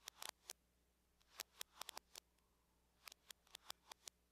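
A closed silver aluminum laptop is tapped on its lid by long nails from both hands. Sharp, bright clicks come in quick irregular bursts with brief pauses between. Each tap stops almost at once, with little low end and a faint steady hum underneath.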